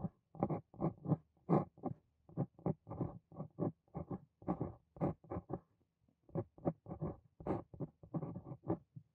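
A steel dip pen nib on a wooden handle writes Korean text across a flat sheet of white writing paper on a desk. It makes about 28 short, quiet, dry scratching strokes in quick clusters, with brief pauses between words. Each stroke stops almost at once with no ring.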